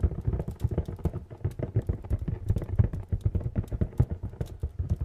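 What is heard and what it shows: Fingernails tap rapidly on a medium, hollow, printed cardboard retail box. A dense, uneven run of quick taps yields dull, low, hollow knocks that stop almost instantly, with faint bright clicks from the nails.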